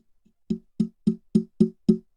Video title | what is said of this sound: TPP Ep. 32 - Podcast Equipment Bundles | That's the microphone. There's nothing in there.